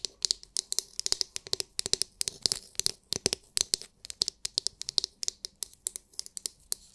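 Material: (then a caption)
Plastic. Long nails tap and scratch the domed shell of a palm-sized, oval, glittery, translucent plastic scalp massage brush. About 44 quick, bright, clicky taps with no ring are heard, mixed with soft scratching, mostly in the high frequencies.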